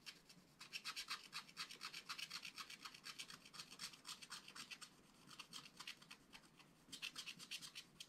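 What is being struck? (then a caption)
Black wax-coated scratch-art card scratched with a wooden stylus. A wooden stylus scratches and rubs the coating off a black wax-coated scratch-art paper page, working on a puffer fish. The result is a quiet, dry run of quick, bright, raspy strokes in uneven rhythm, with short lulls near the middle and just before the end.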